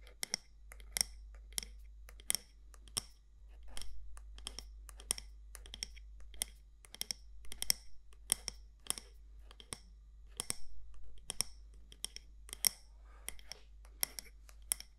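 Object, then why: Glass or ceramic candle jar with lid. Long nails tap and scratch the side walls of a medium matte black candle jar with a gold lid, making a steady run of sharp, bright clicks that stop dead with no ring. Soft scratchy rustles fill the gaps between taps, over a constant low hum.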